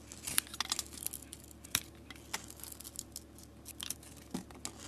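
A metal utility blade, held in a hand with long nails, shaves strips off a solid soap bar with a painted marbled coating and a pale yellow interior. Quick, crisp scraping and crackling cuts come in an irregular run, mostly bright and high with little low end, each dying away almost instantly over a quiet background.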